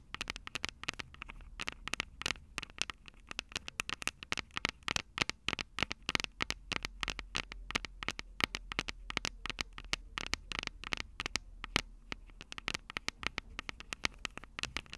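Long purple nails tap and scratch the two silver metal mic capsules on the plastic body of a Tascam DR-05 handheld recorder. A dense, rapid stream of sharp, bright clicks mixes with scratchy rustling over a quiet low rumble, with each tap dying away almost instantly.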